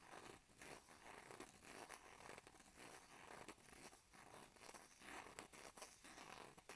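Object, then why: Plastic and aluminium foil blister pack. A small flat blister strip of antihistamine tablets, with plastic blisters on an aluminum foil backing, is held in both hands while fingertips and short nails scratch and crinkle the foil. The result is a steady, quiet run of bright, crisp crackles and scratchy rustles with little low end.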